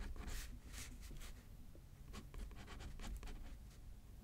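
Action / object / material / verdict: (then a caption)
scrape / paper card on a paper pad, written on with a pen / paper / none. A pen writes on a thin paper card lying flat on a thick paper pad, scratching the paper. Quiet, short scratchy strokes are heard, with bursts of bright hiss over a low rumble.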